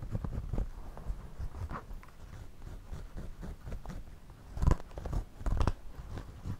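A pencil draws and scratches across the woven brim and crown of a white wide-brim woven straw floppy hat worn on the head. The result is a steady, close-miked, low and muffled crackling, with short scratchy strokes that swell into louder, sharper bursts toward the end.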